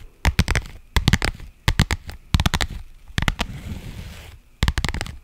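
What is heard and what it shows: Long nails scratch along the surface and seams of a pink faux leather padded pouch. The sound comes in six clusters of quick, crisp, crackly scrapes with a deep, low-heavy body, and a softer sustained rustling scrape fills the gap before the last cluster.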